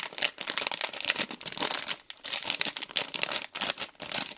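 A small printed plastic-film Lego Friends polybag with bricks inside is crinkled, turned and shaken by hand. It gives a dense run of bright, crisp crackles and rustles with quick clicky bursts and no low end. The crinkling rises and falls in short flurries throughout.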